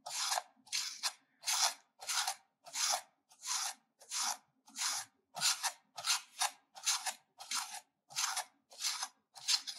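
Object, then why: Soap bar and metal grater. A solid pink soap bar is scraped back and forth with a stainless-steel grater held over it, and the shavings collect in the grater. Each stroke makes a dry, bright, hissing rasp that stops abruptly, repeating at a steady pace of about ninety strokes a minute with short silences in between.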